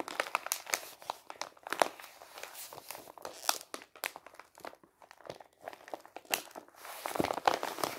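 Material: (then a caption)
Paper. A medium-size brown kraft paper envelope, hollow and empty, is held in the hand and squeezed, crinkled and flexed with the fingers. It makes a steady run of dry, bright crinkling and crackling with quick papery snaps, almost no low end, and no ring after each crunch. The crinkles grow denser and louder toward the end.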